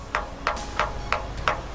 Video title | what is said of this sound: Leyland's Australia Episode 13: Kingston To The Twelve Apostles | If you can get a ring out of the stone like that, it means that it's not a totally dead product.